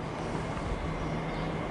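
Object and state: Nothing is struck.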